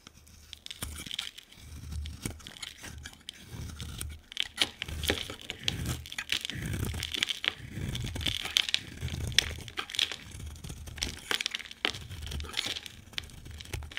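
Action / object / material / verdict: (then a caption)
scrape / bar of soap / soap / none. A hand-sized solid white bar of soap with a lime-green coat is shaved and cut with a utility knife blade. The result is a dense run of dry, crisp scraping and crunching strokes, bright and papery, with soft low thuds under the cuts.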